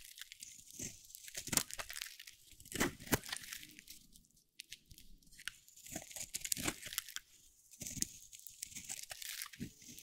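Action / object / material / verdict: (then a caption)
scrape / bar of soap cut with a metal blade / soap / none. A metal box-cutter blade carves thin slices off a hand-held bar of dry soap, solid cream-white with a teal rim. Crisp, bright scraping and crunching cuts come in quick bursts separated by short quiet pauses, each stroke dry and short with no ring.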